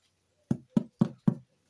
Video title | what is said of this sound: DU PAIN ET DES JEUX ?? LE 26/07/2024 ..ALAINPOTAGER44 | Ça sonne le creux.